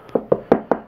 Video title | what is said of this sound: 1/4 Custom Wolverine kit sculpted by Gabriel Francisco Risco Ynez | So it's hollow casted, which is fine. You can hear it's hollow